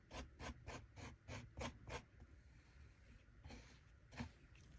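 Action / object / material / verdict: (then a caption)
scrape / kinetic sand in a small plastic chest, plastic shovel / sand / none. A small plastic shovel held in the fingers scrapes and cuts through packed kinetic sand filling a small plastic toy treasure chest. A quick, steady run of short, gritty, broadband scrapes gives way to a quieter stretch, then two more spaced strokes. Each stroke is dry and crisp, with a soft low thud under a bright rasping edge.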